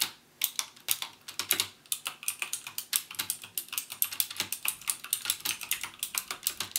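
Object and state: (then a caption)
Plastic mechanical keyboard with clicky switches. Fingertips type on a backlit plastic mechanical keyboard with plastic keycaps and Cherry MX Blue switches, pressing each key fully down. A rapid stream of bright, sharp clicky keystrokes follows, each dying away almost instantly, with a short pause near the start before the typing settles into a steady rhythm.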